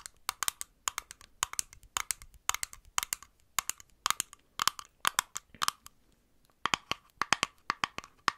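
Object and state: Small glass bottle tapped with nails.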